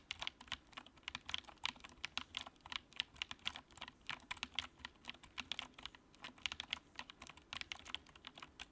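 Fingertips type steadily on the keycaps of a compact, backlit white plastic mechanical keyboard. A fast, uneven run of short, bright clacks is heard, centered around 3 kHz, with almost no low end. Each keystroke stops dead with no ring.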